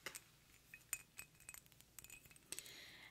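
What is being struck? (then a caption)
Glass perfume bottle tapped with fingernails. A square pink faceted glass perfume bottle with a metallic cap is held up close while long nails tap and click on its hollow glass surface. About ten quick, bright clicks and clinks sound, with short ringing tones. A brief soft high rustle follows near the end.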